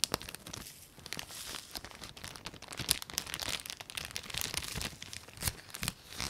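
Long nails and fingertips rub and crinkle a clear plastic packaging bag with a white label, holding a folded red textile flat in front of the mic. A dense run of bright, crackly crinkles and scratchy rustles overlap and continue without clear gaps, mostly high, with little low end.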